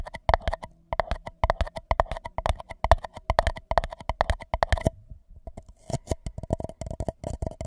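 An empty white paper cup held over the microphone is tapped and scratched with the fingertips and nails of both hands. It gives rapid, dry, hollow taps with a deep thump and a steady papery ring, broken by a short pause before the quick tapping resumes.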